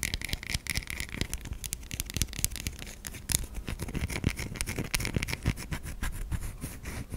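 Long nails scrape across the flat and curved surfaces of a white solid bar of soap, producing a dense run of fast, dry scratching strokes. The clicks are bright at the top with a low rumble underneath, and they fall too close together to count reliably.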